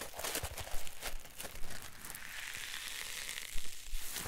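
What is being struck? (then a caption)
Polyethylene foam block. A solid green polyethylene foam block is squeezed and crushed repeatedly in both hands. It makes dense crinkling, crunching bursts with soft low thumps and a bright, squeaky hiss. The bursts swell and fade over a few seconds.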